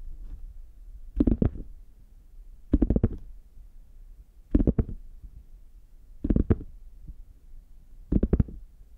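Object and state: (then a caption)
Faux leather hard shell case. Fingertips and nails tap and scratch the embossed front of a hand-sized, brown, chocolate-bar-shaped zippered hard case, a hollow, closed molded shell covered in faux leather, held in both hands. Five short bursts of quick, dull taps come at uneven intervals, with faint scratching between them. The sound is muffled and low-heavy, with no ring after each tap.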